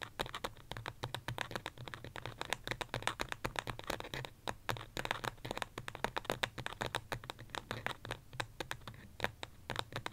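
Long fingernails tap and scratch quickly on the side of a small white pot, probably ceramic, holding an artificial succulent. The result is a dense run of sharp, bright clicks mixed with short scratchy scrapes, each dying away almost instantly over a faint low hum.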